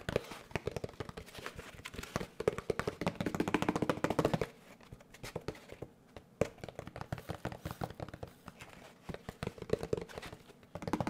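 A large molded paper pulp packaging tray, held at an angle in both hands, is tapped rapidly with the fingertips. The taps are dull, dry and hollow, each dying away almost at once. A dense run of taps softens and thins after about four seconds, then picks back up with a sharper tap and continues steadily.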